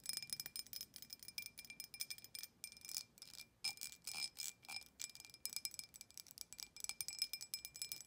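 Long nails tap quickly on the sides of an empty, clear embossed glass drinking tumbler with a thick base. They make a rapid, uneven run of light, bright clicks, each giving a short, high ringing chime over a steady high tone.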